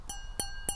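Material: Glass.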